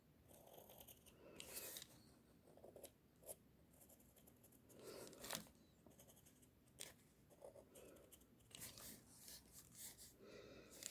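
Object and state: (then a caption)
Pencil drawing on paper. A pink mechanical pencil scratches long lines across a sheet of white drawing paper resting on a flat surface. Soft, bright, scratchy strokes come in bursts with short quiet gaps, a few sharper swipes standing out, all at a low, close level.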